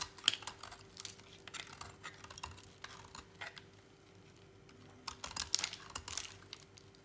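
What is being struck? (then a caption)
Bar soap cut with a blade. A utility knife blade slices and scrapes a small remaining piece of dry, solid orange bar soap, making quiet, crisp, bright cutting clicks and scratches in irregular bursts. A brief lull comes near the middle before a denser flurry of cuts, all over a faint steady hum.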